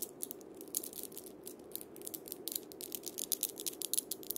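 A wooden cabasa with steel bead chains is played by fingertips and palm scraping and rotating the beads around the cylinder. The result is a dry, bright rattle of quick, closely spaced bursts over a soft hiss, growing busier and louder in the second half.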